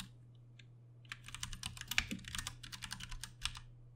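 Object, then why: Plastic mechanical keyboard. Both hands type with their fingertips on a Ducky One 2 Mini, a compact 60% backlit mechanical keyboard with Cherry MX Brown switches and plastic keycaps. After about a second of near-quiet, a fast, uneven run of bright, sharp keystroke clacks follows, over a faint steady low hum.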